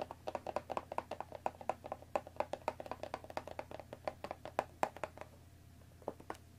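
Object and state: Cellophane-wrapped cardboard tea box.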